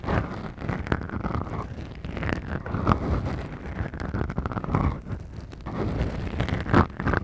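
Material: Foam.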